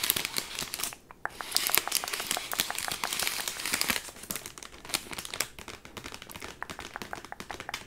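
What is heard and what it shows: A large chocolate Easter egg wrapped in crinkly bronze metallic foil with a printed label stands upright on a desk while fingertips with long nails rub, scratch and crinkle the foil. Dense, bright crackling and crinkling fill the clip in quick sharp bursts, with a brief quiet gap near the one-second mark and softer, sparser crinkles in the second half.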